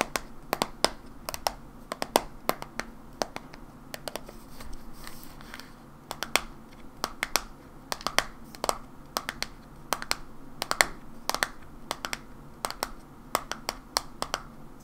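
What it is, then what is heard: Plastic bottle tapped with fingernails. Long nails tap a hollow white plastic supplement bottle with a paper label and white cap, held in the hands. The taps are crisp, bright clicks with very short ring, coming in uneven bursts and pairs over a low, quiet background hiss, with soft rustling between them.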